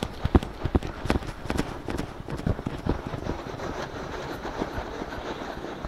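Fingertips and short nails on both hands scratch and rub palm-sized soft silicone ear shapes mounted on both sides of a black 3Dio-style binaural microphone on a stand. The first half brings sharp, low, bassy thumps mixed with scratchy rustle, which then settle into a steady, dense, muffled rubbing.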